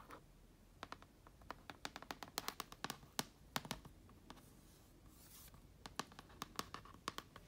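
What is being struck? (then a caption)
Plastic laptop lid with vinyl stickers. Long nails scratch and tap around a TOMS sticker and a red logo sticker on a black plastic laptop lid covered in vinyl stickers. Sharp, dry clicks and scratches come in quick, irregular clusters, each one short and bright with almost no ring. A soft, breathy scraping fills a brief pause in the middle.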